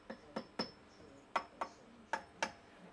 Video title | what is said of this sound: Marshall JCM800 2203 Repair - Part 1: Oscillation, bad EL34's & more! | a bit of uh microphonics there coming from V1